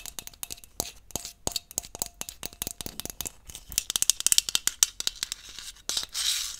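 Long nails tap and scratch a hollow green aluminium aerosol hairspray can with its cap on, near the top and along the body. Quick, irregular bright metallic clicks with almost no ring come in bursts. The clip ends in a brief hissy scratching rasp.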